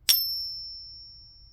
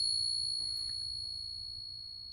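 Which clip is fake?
The first.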